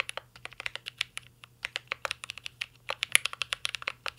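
Two hands type steadily with their fingertips on a full-size mint-green Cyberboard R3 mechanical keyboard with a metal case, plastic keycaps and Holy Panda switches, resting on a desk. About 28 crisp, bright clacks come in a quick, uneven rhythm, each dying away almost instantly over a faint low hum.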